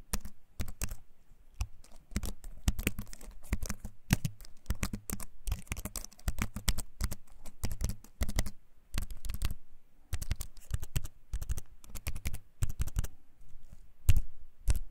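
A compact keyboard with a wooden frame and plastic keys, held up close, is typed on with the fingertips. A dense run of short, dry clicks from the keycaps comes in quick bursts with brief pauses, each hit dying away almost at once over a low thump.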